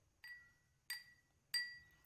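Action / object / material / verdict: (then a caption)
tap / drinking glass tapped with a pencil / glass / empty. The wall of an empty drinking glass is tapped three times with a pencil, each tap giving a bright clink that rings at about 1.9 kHz and fades within a fraction of a second. The sound travels through the glass and the air.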